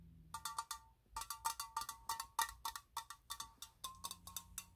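A hand-sized, hollow blue and white metal aerosol spray can with a green-yellow cap is held in the hands and tapped with pink-painted fingernails. The taps come in a quick, uneven series, each giving a short, bright metallic ping centered near 900 Hz with a sharp click on top that dies away almost at once.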